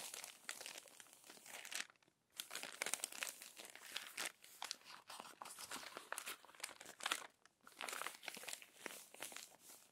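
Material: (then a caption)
Paper. Hands with long nails turn and flatten the crumpled, crinkled pages of an open glossy paper magazine. The result is dense, bright crinkling and crunching with quick rustles. There are brief quiet gaps near 2 and 7.5 seconds.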